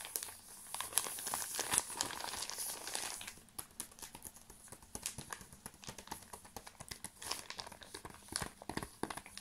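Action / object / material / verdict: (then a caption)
scrape / folded tarp in plastic packaging / plastic / none. A folded protective tarp sealed in crinkly plastic packaging is held in both hands while fingertips and nails squeeze and scratch the wrapper. Dense, bright crinkling fills the first three seconds, then thins into rapid, irregular crackles and sharp scratching ticks.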